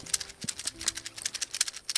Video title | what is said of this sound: Off the Main Road in Senegal – 2WD Overlanding | if it's nice and dry, you can hear the seeds, then you can shake it and make some music with it